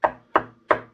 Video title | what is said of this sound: Sansui SP-2500 Speaker Overview - Are "Kabuki" Speakers Worth It? | They weigh around 50 pounds each, are heavily internally braced. You can hear just how dead they sound when you rap on the cabinets.